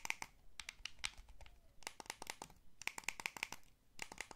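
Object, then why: Plastic game controller. Thumbs press the sticks and fingertips tap the buttons of a small, hollow, blue wired plastic gamepad. Quick bursts of crisp, bright plastic clicks and taps follow one another with short pauses between clusters. Each click is dry and dies away almost instantly.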